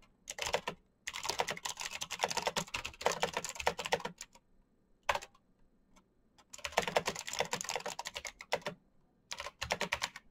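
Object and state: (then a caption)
Plastic mechanical keyboard. Both hands type fast with their fingertips on the clicky keys of a black plastic mechanical keyboard with RGB backlight. Rapid, bright, sharp clacks come in dense bursts separated by short pauses, with a lone tap in the middle. Each keystroke stops almost instantly.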